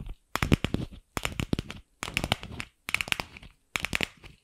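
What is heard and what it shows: Long pink acrylic nails tap and scratch a single palm-sized, light pink hollow plastic ball, a two-half capsule with a seam, held in one hand. Quick, dry, hollow clicks and scratchy crackles come in five short bursts separated by brief silences, with each click dying away almost instantly.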